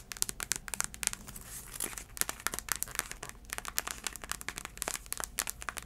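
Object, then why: Braided heeled sandal with insole and sole. A black braided heeled sandal is held up while long acrylic nails tap and scratch its tan insole and sole. Quick, dry, bright clicks and crinkly scratching run in a dense, irregular stream with no ring and almost no low end.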